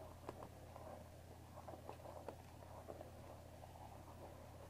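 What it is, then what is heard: Cardboard tea box. Long painted fingernails of both hands tap on the top of a small, hollow, rectangular cardboard box of Earl Grey tea bags, still holding its tea bags and standing on a wooden table. The result is a series of quiet, dry, irregular ticks and soft patters with a few sharper clicks, over a steady low hum.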